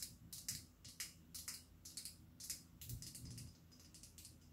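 A clear glass perfume bottle with a rhinestone collar, hollow with some liquid inside, is held close to a microphone and tapped with long acrylic nails. Bright, sharp clicking taps come in an uneven rhythm, each dying away almost at once over a faint low hum.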